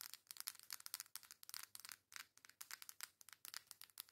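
Long nails rub and scratch the flat, foil-printed back of a coral cardboard makeup face palette. The result is a fast run of about two dozen short, dry, bright scratching strokes with no low end and no ring between them.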